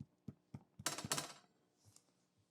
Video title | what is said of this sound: How to make damper | when you tap it, it should sound hollow